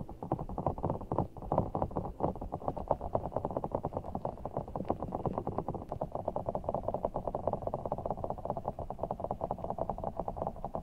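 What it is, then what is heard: Giant water gel bead ball. Fingertips squeeze and rub a large, soft, full giant orbeez ball of blue water gel beads in a clear rubber skin, held over the mic. The result is a dense, continuous stream of quick, squishy crackles and pops. The sound stays in the low-to-mid range around 650 Hz, has almost no bright content, and each tick dies away instantly.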